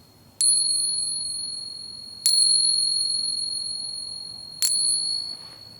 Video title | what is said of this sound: 4 Ways to Identify Silver in Your Pocket Change | the silver coin has a much higher pitch and a more pleasant sound compared to the dullness of the clad coin